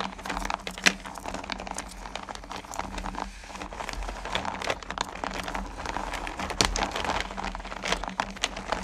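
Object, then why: Small candy pumpkins in a plastic bucket. Both hands with long painted nails dig into and stir a pile of small, solid candy corn pumpkins in a purple plastic bucket. The result is a steady, dense rattling and clattering of candies knocking together and against the plastic, with sharp bright clicks and brief louder clacks. A faint low hum runs underneath throughout.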